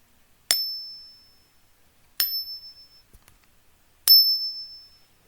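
A genuine Philharmonic precious metal bullion coin is ping tested three times, each strike giving a bright, high metallic ring with a higher overtone that fades over about a second. The sustained ring marks it as a real precious metal coin.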